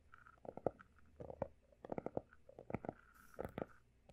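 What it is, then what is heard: Textured hardcover notebook. Fingertips of both hands rapidly tap and scratch the solid, pale blue embossed cover of a closed, textured hardcover notebook. Quiet, dry, hollow taps with no ring-out come in irregular quick bursts, with soft scratching between them and a brief bright scratch near the end.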